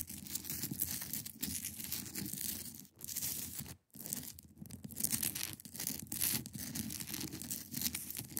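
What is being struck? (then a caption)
Block of ice. Long acrylic nails scratch across the top of a large, solid, clear block of ice. The result is a steady, bright, rasping scrape with a softer low rumble beneath it. It breaks off briefly twice, just before 3 seconds and again near 4 seconds, before the scratching resumes.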